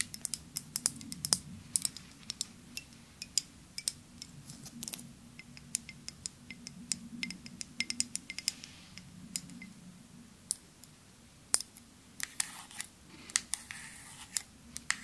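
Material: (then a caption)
Glass. A partly filled clear glass perfume bottle with a white cap is tapped with long nails close to the microphone. Many quick, bright clicks sound in a loose, irregular rhythm, each dying away almost at once over a faint low hum.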